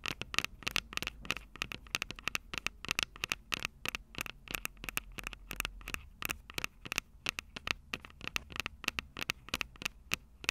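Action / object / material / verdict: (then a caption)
tap / handheld audio recorder with metal microphone capsules / metal / none. Long purple nails tap the silver metal mic capsules of a Tascam DR-05 handheld recorder in a rapid, uneven series of about fifty sharp clicks. Each tap is bright and high with almost no ring, over a faint low rumble.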